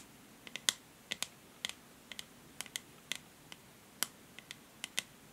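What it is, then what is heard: Plastic paddle hair brush. Long nails tap and scratch along the grey matte plastic back and handle of a paddle hair brush. About seventeen quiet, sharp, bright clicks come at an uneven pace, each dying away almost instantly over a soft hiss.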